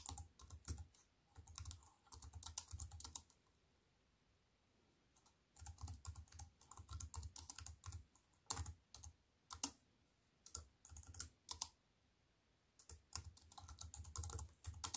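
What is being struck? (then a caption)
Plastic computer keyboard. A compact wireless keyboard with black plastic keys on a grey metal-look frame, lying flat on a wooden table, is typed with fingertips and long white-painted nails. Quick runs of tapping clicks, each with a low thud and a bright click, come in bursts separated by two quiet pauses. The keystrokes are short and stop quickly, and the typing is soft.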